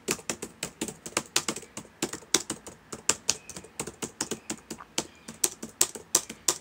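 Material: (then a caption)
Plastic. Fingertips of both hands type on the plastic keys of a black laptop keyboard. A fast, steady run of sharp, bright clicks follows, each dying away almost instantly, with a slightly uneven rhythm.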